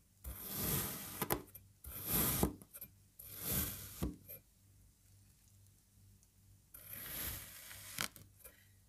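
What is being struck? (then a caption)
Kinetic sand block. A serrated knife slices a solid green puzzle-shaped block of kinetic sand into parallel strips. Each stroke makes a soft, gritty scraping crunch with bright hiss, swelling and fading, with sharp little clicks. Quiet pauses with a low, steady hum sit between the cuts.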